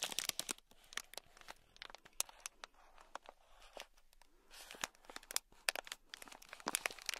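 A thin black stick scratches a small sealed clear plastic bag packed full with tiny gold beads. It produces quiet, bright, crinkly scratches and rapid crisp clicks of plastic and beads with almost no low end. Each click cuts off quickly.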